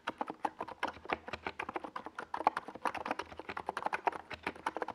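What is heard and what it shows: Fingertips of both hands type fast on a NiZ Plum Atom 68, a compact 68-key mechanical keyboard with a white plastic case and purple and yellow Domikey Gas Attack SA plastic keycaps, resting on a desk pad. A rapid, steady run of short, distinct plastic clacks centers around 850 Hz, and each keystroke dies away almost instantly.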